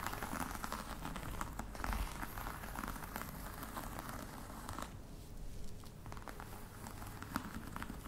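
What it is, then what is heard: Faux leather box, tapped and scratched. Long red nails tap and scratch the top of a flat, hollow black box covered in embossed faux-crocodile leather. The result is a quiet, steady stream of dry, crinkly scratching with light, short taps scattered through it, and a soft low body under the texture.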